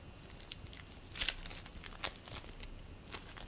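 Hands stretch apart and squeeze purple play foam made of polystyrene beads, producing soft, bright crackling and crinkling. A few sharper snaps stand out, the loudest pair about a third of the way in, over a faint, steady hiss.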